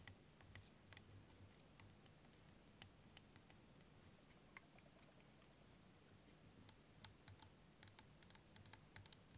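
Fingernails tap rapidly on a hand-sized, hollow, clear plastic liquid motion timer with yellow end caps, filled with green liquid. The taps are quick, dry, bright clicks in irregular bursts that die away almost instantly. They sit over a steady, quiet low hum.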